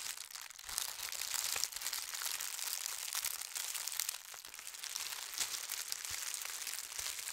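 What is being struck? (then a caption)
Folded tissue paper. White tissue paper with a gold star print, folded into a long strip, is pressed and rubbed along its folds with fingertips and nails. A steady, bright crinkling hiss fills the clip, scattered with quick, sharp crackles and almost no low sound.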